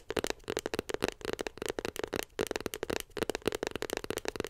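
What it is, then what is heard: Cardboard box tapped with fingernails. Long pink nails tap rapidly on a small white glossy cardboard iPhone 7 Plus box held beside the mic. About 22 quick, dry, hollow clicks come in uneven bursts, with a mid-pitched papery tone and no ring after each tap.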